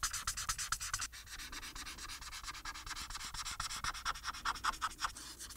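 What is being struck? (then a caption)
Paper sheet rubbed with a felt-tip marker. The felt tip of a plastic marker, held in the fingers, rubs across a thin printed paper coloring sheet with a Harry Potter picture lying flat on a surface. Rapid, repeated coloring strokes make a steady, bright, scratchy rasp with a tone near 1 kHz. The strokes swell and fade in quick rhythmic pulses throughout.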